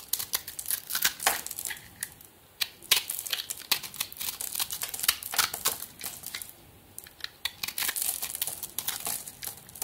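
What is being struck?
Soap bar with glitter coating.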